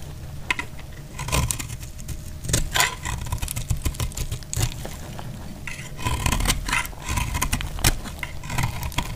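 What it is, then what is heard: Dry soap bar, crisp. A thin metal blade scrapes and carves crispy curls off the surface of a solid, hand-sized pink dry soap bar held in the hand over a pile of soap shavings. The result is a dense run of crisp, dry scraping and crackling bursts with bright edges over a low rumbling bed, rising in short louder strokes.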